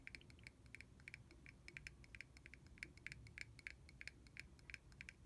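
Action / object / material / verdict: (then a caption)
tap / small plastic bottle cap / plastic / none. A small, hollow, clear red plastic cap, removed from a mist bottle and held in the fingers, is tapped rapidly on its sides with fingernails. The result is a quick, uneven patter of short, dry clicks with a bright ring around 2 kHz over a soft low background hum.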